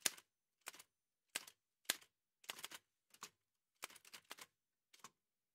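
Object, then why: Metal manual typewriter keys. White satin-gloved fingertips type on a large, heavy old Remington manual typewriter with a dark painted metal body and paper loaded. Sharp, bright metallic key clacks come in short irregular bursts, some single strikes and some quick clusters, with brief silent gaps between them. Each strike is dry and stops almost instantly, with no low rumble.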